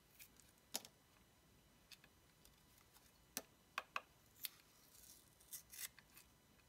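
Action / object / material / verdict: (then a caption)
scrape / bar of solid soap cut with a blade / soap / none. A dark blade slices and scrapes strips off a palm-sized yellow oval bar of solid soap held in the hand. Sharp, bright crisp cuts and scrapes come in separate bursts with quiet pauses between, each dying away almost at once.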